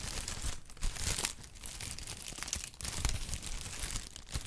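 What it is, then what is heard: Kraft honeycomb packing paper being crinkled. Brown kraft honeycomb packing paper is squeezed and crinkled with fingers, giving a steady stream of dry, papery crackles and crunches. The rustling is continuous and bright with a soft low rumble underneath, swelling in brief louder bursts.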